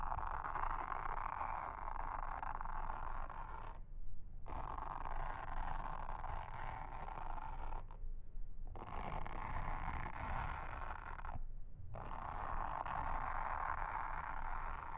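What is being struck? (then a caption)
Silicone honeycomb trivet mat. A pink mascara spoolie brush, held in a hand with long red nails, brushes and scratches across a round, blue, flat, solid silicone trivet mat with a honeycomb texture lying on a table. The result is a steady, dense, scratchy rustling with a low rumble underneath, broken by three brief pauses when the upper hiss drops away.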